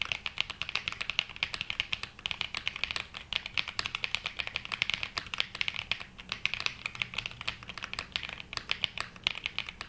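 A black Glacier 80 mechanical keyboard with London Fog switches and dark grey and mint ABS keycaps (GMK Metropolis), solid-bodied and resting on a felt desk mat, is typed on with the fingertips of both hands. A steady, fast stream of sharp, bright key clacks follows, each dying away almost instantly with very little low end.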